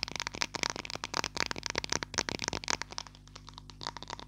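Long lilac nails tap rapidly on a small green and white plastic glue stick held close to the mic. The result is a fast, irregular flurry of dry, bright clicks and light rattles with almost no ring, thinning to sparser taps over a faint steady low hum near the end.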